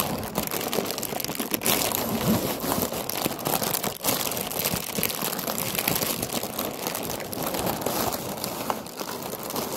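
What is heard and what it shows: A round, hollow orange paper lantern with a wire frame and a painted pumpkin face is held while long nails scratch and crinkle it. The result is a steady, dense stream of dry crinkling and scratching with a bright, papery hiss that never settles into silence.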